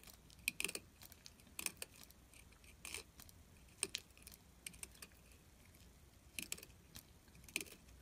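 A solid orange glycerin soap bar held in hand has fine ridged shavings scraped from its edge with a metal carving tool. Short, bright scratching bursts come in irregular clusters over a quiet background, each dying away almost instantly.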